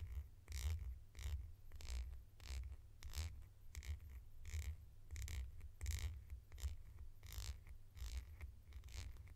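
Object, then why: Hollow plastic cap. Long nails scratch a red hollow plastic cap held in the hands, making short bright scraping bursts in an uneven rhythm. A steady low rumble from handling sits underneath the whole clip.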